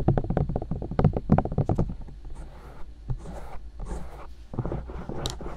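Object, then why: Silicone ears of a binaural microphone. Long dark nails tap and poke the silicone ears of a binaural microphone mounted on white plastic discs. A quick, uneven run of dull, low thuds comes first, then gives way to softer rubbing, muffled pokes and brief brighter scratchy bursts.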